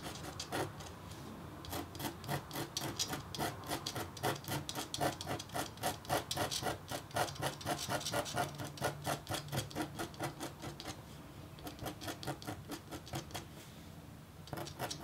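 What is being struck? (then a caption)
Copper-foil scratch-art board scraped with a metal stylus. A metal-tipped stylus scratches longer feather strokes into a flat, thin black-coated copper-foil scratch-art board. Quick, rasping scrapes repeat at roughly four per second with a faint metallic tone, easing into softer, quieter strokes near the start and toward the end.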